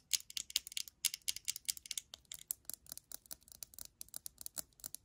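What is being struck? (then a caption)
Small glass perfume bottle. Long nails tap rapidly and irregularly about 32 times on a small hollow glass perfume bottle, likely Viva La Juicy, with a faceted purple-blue base and liquid inside, held in the hand. Each tap is a bright, dry, high-pitched click with almost no ring and no low end.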